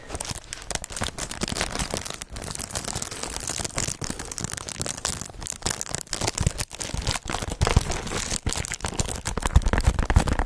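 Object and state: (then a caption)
Cardboard snack box. Fingertips and nails tap and scratch the surface of a small, hollow, orange printed cardboard snack box held close to the mic. The result is a steady stream of dry, crinkly scratching and quick tapping, with a brushy high hiss over soft low thumps.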